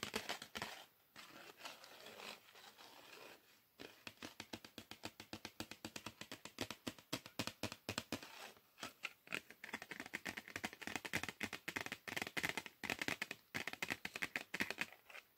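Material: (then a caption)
Cardboard. Fingernails scratch and tap across the printed front of a small, flat, red printed cardboard chocolate bar box held in the hand. The result is a rapid run of dry, crisp ticks and bright, crinkly scratches that die away almost instantly, broken by a few brief pauses and growing busier toward the end.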